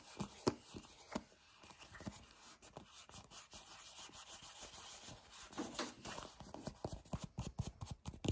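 A small, hollow white plastic Peptide Moisturizer tube with a black cap is gripped, rubbed and scratched with fingertips and short painted nails. Soft, quiet rubbing and scraping is broken by sharp, brief ticks and scratches that grow busier toward the end.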